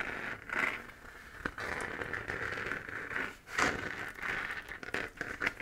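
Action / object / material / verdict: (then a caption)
scrape / hollow 3D-printed plastic moon-lamp sphere / plastic / none. Long dark-painted nails scratch the textured crater surface of a lit, hollow 3D-printed plastic moon lamp, a sphere about 15 cm across held in both hands. The scratching comes in uneven crackly, rustling bursts with a bright, papery edge and little low end.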